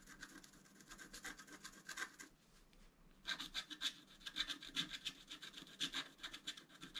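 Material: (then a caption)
Coated paper. A wooden stylus scratches an antler design into a flat black-coated scratch art card, making dry, bright, rasping strokes in quick, uneven bursts. The scratching pauses briefly near the middle, then resumes with sharper, brighter scrapes.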